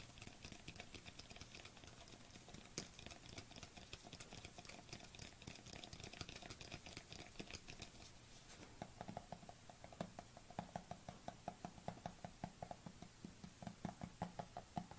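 A white plastic supplement tub is cupped in the hands while a fingernail taps on its side and lid. Quick, dry clicking patters along steadily, and in the second half the taps grow louder and more spaced, each with a short hollow plastic ring. The taps end sharply with almost no decay.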